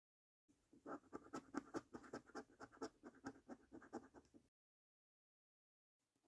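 The edge of a coin held in the fingertips scratches the scratch-off coating from a thin, flat £5 Snack Stack paper lottery scratch card, held in the other hand as it lies on a dark wooden table. A quick, uneven run of rasping strokes lasts about four seconds, with a papery midrange body and bright high edges on each stroke. It then falls silent, with a faint brief scrape at the very end.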